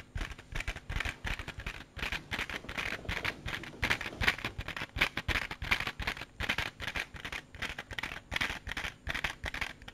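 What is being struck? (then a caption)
Small clear plastic compartment case. A small, hollow, clear plastic case with raised compartments is held in the hand and tapped and scratched with fingertips and nails. The result is a quick, irregular stream of short, dry clicks and scratchy taps, bright and hollow-sounding, centered near 1.9 kHz, with almost no ring after each hit.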